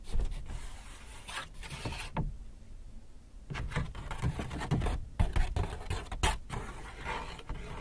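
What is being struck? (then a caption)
Paper shopping bag. Fingertips and a palm rub and crinkle the front surface of a large white paper Hudson's Bay shopping bag, hollow and apparently empty. Soft, low-weighted rustling and scraping comes in uneven bursts with a short quiet lull partway through, then sharper crinkles toward the end.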